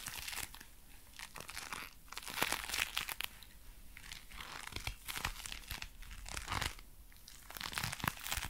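Dark brown leather gloves worn on both hands are squeezed into fists while the fingers flex and rub together. The leather gives dense, bright creaks and crinkly crackles in uneven bursts over a faint low rumble, each sound dying away almost instantly.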